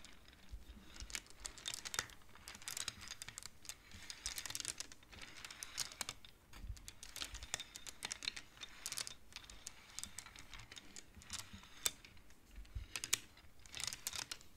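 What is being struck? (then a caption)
Wooden abacus beads on metal rods. A large wooden-framed abacus with colored wooden beads on metal rods is played with fingertips and long polished nails, sliding the beads and clacking them together. Rapid, dry, bright clicks with almost no ring come in uneven bursts over about fifteen seconds, along with a faint crinkle-like texture.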